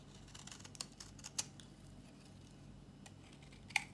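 A solid, dry pink bar of soap held in the hand is shaved into curls with a metal utility blade. Short, crisp scraping clicks stand out over a quiet, low hum, with the sharpest snaps near the start, at about 1.4 s, and near the end. The sound is bright and dry, and each click stops almost at once.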